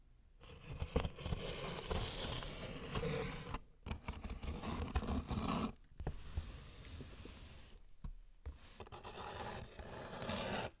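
A thin metal blade tip held in a gloved hand scrapes and scratches along the taped seam of a closed, medium-sized corrugated cardboard shipping box lying on a white surface, while the other gloved hand steadies it. Rough, tearing scrapes with a low, papery body come in several sustained bursts separated by brief silences.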